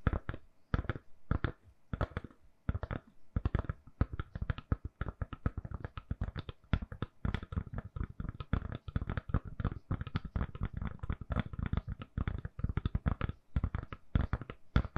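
A handheld smartphone in a purple (lilac) soft silicone case has its back tapped rapidly with long nails. The clip is a dense run of short, dry, thumpy taps with faint clicky edges, each dying away almost instantly, with brief pauses between bursts.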